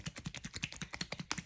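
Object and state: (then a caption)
Glue bottle with thinned, runny contents. A plastic glue bottle holding glue thinned with rubbing alcohol is shaken after its top is screwed back on. The liquid sloshes in a quick, rhythmic series of about twelve short bursts. The alcohol thins the glue so it flows freely when squeezed.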